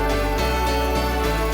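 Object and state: Nothing is struck.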